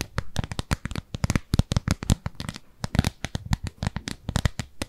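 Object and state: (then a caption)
Silicone cleansing pad. Long nails scratch a round, pale pink, textured silicone cleansing pad that is solid and palm-sized and held upright. The result is a rapid run of short, separate scratches, each a dry, crackly burst with a soft low thud underneath and a bright edge. Each scratch stops dead, with no ring.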